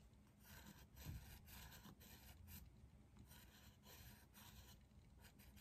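A hand shades a leaf drawing with a dark green colored pencil in quick strokes on a flat white textured paper sheet resting on a drawing pad on a desk. Soft, continuous rasping scratches of pencil on paper come in short repeated bursts over a low, steady rumble, with a faint bright hiss. The sound stays quiet throughout, swelling slightly with the heavier strokes.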